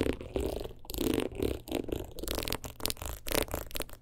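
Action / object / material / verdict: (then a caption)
scrape / rhinestone-covered clutch wallet / rhinestone / none. A single long fingernail rapidly taps and scratches across the stones of a teal rhinestone-covered clutch wallet held at an angle. The result is a busy run of gritty, clicking scrapes in quick bursts, with a mid-pitched rasp and bright, crisp edges.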